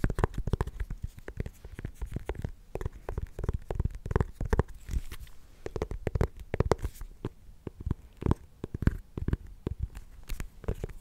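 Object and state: Small pumpkin.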